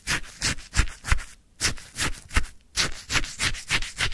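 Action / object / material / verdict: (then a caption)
scrape / frozen lemon sherbet in a paper cup, scraped with a wooden stick / ice / none. A wooden stick scoops and stirs icy frozen lemon sherbet in a white paper cup. It makes a steady run of crunchy, gritty scraping strokes with short pauses between them. Each stroke has a bright, grainy rasp over a dull low thump.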